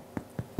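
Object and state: Baked loaf of bread, hollow (done).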